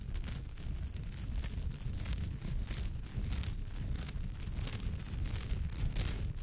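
Long nails on both hands scratch rapidly across a woven straw or raffia purse. The result is a steady, dense scratching texture with bright crackly bursts over a strong low rumble.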